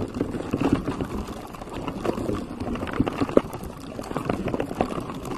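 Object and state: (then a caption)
Silicone microphone cover. Fingertips and short nails scratch and tap across the surface of a pink textured silicone cover on a microphone. The result is a close, muffled, continuous rustling scratch with soft, dull taps poking out, its energy sitting mostly in the low-mids with little bright content.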